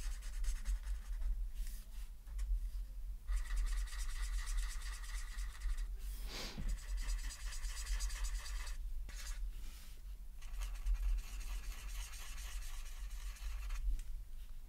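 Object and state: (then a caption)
Felt-tip marker colouring on paper. A white-bodied felt-tip marker scratches and rubs across a flat white paper mandala coloring sheet resting on a folder, coloring around the outer ring in short strokes. The strokes come as a steady, dry scratching texture in bursts with brief pauses, over a constant low hum.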